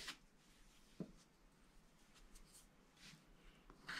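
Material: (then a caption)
Coated paper. A wooden stylus scratches the black coating of a thin, wax-coated paper sheet on a spiral-bound scratch-art pad, working in the sky area while the fingertips of the other hand hold the bottom edge. Quiet, dry scraping and rubbing carry bright, hissy streaks, and three sharper scratch accents stand out near the start, middle and end.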